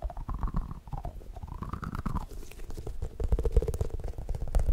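A solid, palm-sized, yellow Pikachu-shaped squishy toy made of soft foam is tapped rapidly with fingertips, first while held to the side and then while held behind the mic. The taps make dense, dull, low thumps that merge into a muffled rumble, with faint squeaky, sliding tones rising and falling above them. The tapping grows louder and heavier in the second half.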